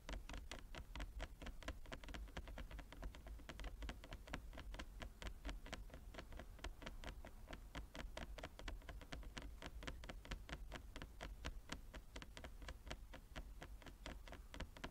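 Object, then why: Wooden chess board. Long nails tap rapidly with both hands across the surface of a large, flat wooden chess board with inlaid squares. The result is a steady, quiet patter of short, dry clicks with almost no ring, carried over a low-heavy body that sits around 270 Hz.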